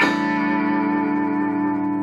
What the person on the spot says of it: Hear that fluctuation? This is a very solid guitar, by the way.